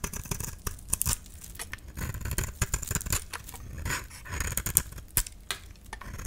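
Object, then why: Painted soap bar scraped with a metal blade. A metal utility-knife blade scrapes and shaves curls off a solid, palm-sized, dry cream soap bar with a red painted coating, held in the hand. Quick, crisp scraping strokes come in uneven bursts, each a dry rasp with a bright, high hiss over a dull low body. The strokes stop dead with almost no ring.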